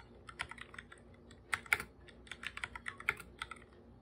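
Bare fingertips type on a full-size black computer keyboard with plastic keycaps and a hollow body, producing about sixteen short, bright plastic key taps in an irregular rhythm. The taps are quiet and dry with almost no ring. A few are louder strokes, clustered around the middle and near the end of the clip.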